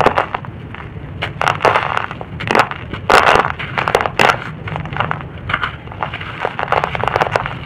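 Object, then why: Chunk of red-brown soil. A fist-sized chunk of dry red-brown soil is crushed between fingertips into powder that falls onto a soil heap. Repeated dry, crunchy crumbling bursts and gritty crackles rise and fade over a faint low hum throughout.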